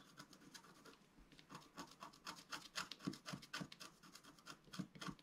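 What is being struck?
Black-coated scratch-art paper scratched with a wooden stylus.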